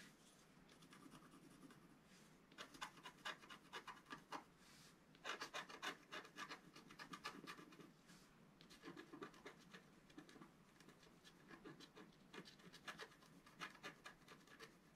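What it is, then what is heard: Scratch art paper sheet. A wooden stylus scratches the upper right area of a flat scratch art paper sheet held down by one hand. Quick, dry scratching strokes come in bright, raspy bursts separated by brief quieter pauses, with little low end.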